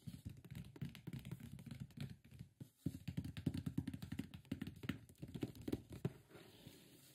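Fingertips and palms rub and tap the lid and sides of a large, closed, hollow white printed cardboard microphone box. The result is a dense, irregular stream of soft, dull, low thumps and light taps that die away almost at once, with a faint papery scratch. A brief lull comes near the middle before the tapping resumes more strongly and then thins out toward the end.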